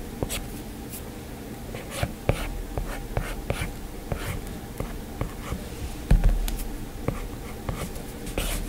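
A plastic stylus scratches and taps short strokes across an iPad's glass screen while drawing hair lines. Soft, dry ticks and brief scrapes come in an uneven rhythm over a steady low hum, and each one stops almost at once.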